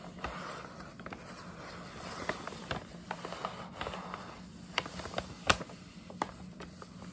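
Long nails scratch and tap across the surface of a hollow, printed paper gift bag with a scalloped top, held upright. Soft papery scraping and crinkling runs throughout, broken by scattered sharp, bright taps that die away almost instantly. A faint steady low hum sits underneath.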